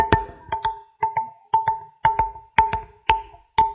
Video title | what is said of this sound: 3000 నాగ సాధులు Vs 30,000 ఆఫ్ఘన్ అక్రమ దారులు - సంగీత స్తంభాలు - YZ Sangatulu | మనం వాటిపైన మెల్లగా టచ్ చేస్తే వివిధ సంగీతాల గమనికలు వస్తాయి